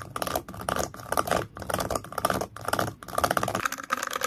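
Fingertips and nails tap and scratch the base of a small, pale, solid-wood stand. Dense, crackly bursts of dry scratching and light tapping come in quick rhythmic clusters, separated by brief pauses roughly every half second. The tone is papery and mid-pitched, with little low end and very short decay.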